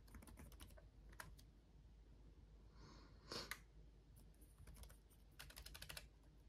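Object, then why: Plastic laptop keyboard. Fingertips of both hands type on a black laptop keyboard with RGB-backlit plastic keys. Quick, quiet, bright plastic clicks come in uneven bursts over a steady low hum, with a slightly louder cluster of taps midway.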